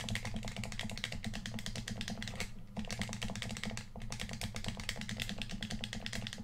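Fingertips rapidly click the buttons and tap the shell of a hollow red plastic PS4 controller. The result is a dense, continuous stream of bright plastic clicks over a low, hollow thump, with brief lulls near 2.5 and 4 seconds.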